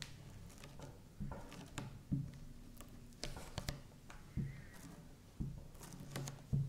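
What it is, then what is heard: Slime strip tapped with a knife tip. A knife tip taps and scores short cuts into a flat, solid purple slime strip resting on a felt mat, with a hand with long purple nails resting beside it. Soft, low, muffled ticks and squishy cuts come in a loose, uneven series, each fading almost at once against a quiet background.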